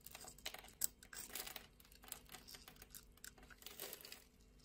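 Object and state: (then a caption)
Bar of soap being cut. A metal utility blade scores the surface of a solid, translucent orange bar of soap held in the hand and scrapes off small cubes. The sound is a quiet, rapid run of crisp, bright scratching and crackling clicks with almost no low end. Each click dies away almost instantly, and one sharper snap stands out near the start.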